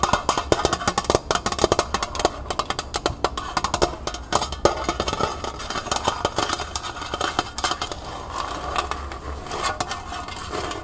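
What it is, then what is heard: Metal pail tapped and scratched with nails. Long nails rapidly tap and scratch the outer wall of a small, hollow, empty copper-colored metal pail standing upright on a table. The quick, dry taps have a short metallic ring and a mid-pitched hollow tone, mixed with bright scraping between the hits.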